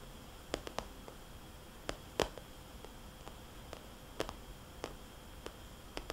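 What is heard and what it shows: Fingernails tap slowly on a small, glossy red polka-dot vinyl cosmetics bag, giving about 12 soft, hollow, short clicks with brief bright edges. The taps come at uneven intervals over a quiet, steady low hiss.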